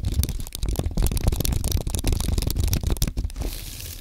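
Fingertips type on a compact white aluminium and plastic Apple keyboard, producing a dense, continuous stream of soft, low, thudding key taps with light clicks on top. The typing runs steadily for about three and a half seconds before trailing off into a faint hiss.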